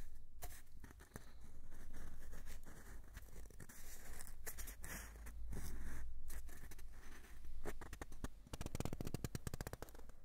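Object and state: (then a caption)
Cardboard tube. Fingertips and nails scratch and tap the outer surface of a long, hollow, empty brown cardboard tube held in both hands. Dense scratchy rustling mixes with sharp, dry taps over a low hollow body. Toward the end it becomes a fast run of quick, crisp clicks.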